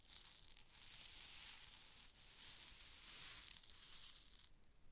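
A long, narrow glass test tube with a cork stopper, partly filled with small pink beads or rhinestones, is held in a hand with long dark nails and tilted back and forth over a microphone. The beads slide and rattle inside the tube in a bright, hissy, sand-like rush that swells twice and fades out at the end.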